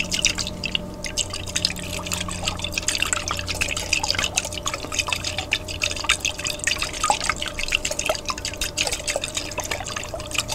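A large clear glass jar with a white plastic lid, partly filled with water, is held upright and shaken by hand so the water sloshes inside. The sound is a steady stream of quick, bright dripping and splashing clicks over a faint low hum.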